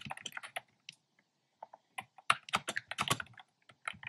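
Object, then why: Plastic keyboard with round keycaps. Fingertips type steadily on a black plastic keyboard with hollow, round, pastel retro keycaps. Quick, bright clacky taps come in uneven bursts with short pauses, each dying away almost instantly.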